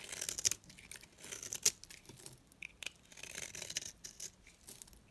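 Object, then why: Bar of soap shaved with a blade. A small rectangular pink bar of dry solid soap is held in the fingers and shaved with a box-cutter blade into thin curls. Dry, bright scraping and crackling strokes come in irregular bursts, with sharp brief snaps and almost no low end.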